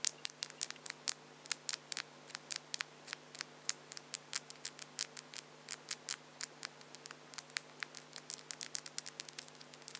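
Long French-tip acrylic false nails are clicked against each other, nail on nail, with both hands. About fifty short, sharp, bright clicks come in an irregular, rapid patter over a faint steady low hum. Each click dies away almost instantly.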